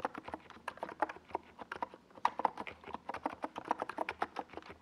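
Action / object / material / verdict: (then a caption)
tap / plastic mechanical keyboard / plastic / none. Fingertips type continuously on a small 68-key NiZ Plum Atom 68 mechanical keyboard with a white plastic case and purple and yellow Domikey Gas Attack SA plastic keycaps, resting on a desk pad. A steady stream of quick, dry plastic clacks with a mid-range tone around 900 Hz follows, each keystroke dying away almost at once.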